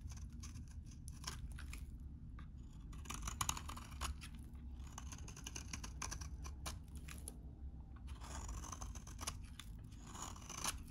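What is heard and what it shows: A utility knife blade shaves curls off a solid, hand-sized, very dry, vintage cream-colored soap bar. Bursts of crisp, dry scraping and crackling come in clusters, bright and gritty, with short pauses between them. A steady low rumble runs underneath the whole time.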